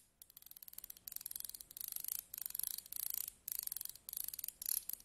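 A thin pointed stick is scraped along the ridged grip of slim metal tweezers held in the hands, ending with the tweezers held upright. It makes a series of short bursts of rapid, dry ticking clicks, very bright and high with almost no low end, each burst a quick ripple of tiny ridges.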